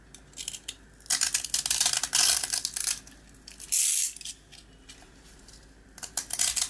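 A small, dry, round rusk with a green coating is held in the hand and scraped with a box cutter blade. Bright, dense scratching and crackling bursts come in waves, with a sustained hiss near the middle. The green coating flakes off and the solid yellow rusk crumbles.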